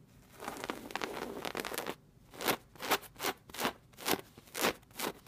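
Long red nails and fingertips scratch and rub the padded brown-and-gold patterned woven upholstery of a fabric chair. A steady, dense, bright scratching fills the first two seconds, then seven separate rasping strokes follow with short quiet gaps between them.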